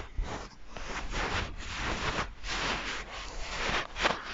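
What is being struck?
Stuffed fabric plush toy.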